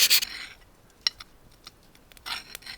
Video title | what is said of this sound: Beginner Knife Making 101: How to Make a Knife With Only Hand Tools Part 2 | It's catching. It sounds duller. >> That's how you know if it hardens.